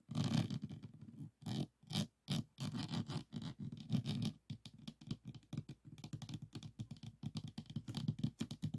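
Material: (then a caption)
Plastic resin. Fingertips and nails tap quickly on the plastic resin drills of a small, rigid, framed diamond painting board resting on a table. The result is a dense, scratchy patter of short clicks and rubbing scrapes in uneven bursts with brief pauses, carrying a low body and a faint bright edge.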